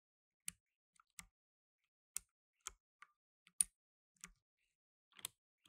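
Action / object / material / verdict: tap / plastic mechanical keyboard / plastic / none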